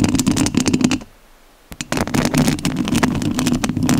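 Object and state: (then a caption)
Scratched metal mesh microphone grille. Long nails scratch the metal mesh grille of a rhinestone-covered studio microphone, making dense, close, rasping scrapes with a strong low-mid body and bright crackle on top. The scratching stops for about half a second into near silence, then resumes just as busily until the end.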